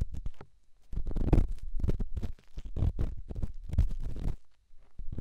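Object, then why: Rough stone on a silicone microphone ear. A solid, rough rock held in the fingertips is rubbed against a silicone microphone ear. It makes dense, muffled, low scraping and rumbling in bursts, separated by brief quiet gaps.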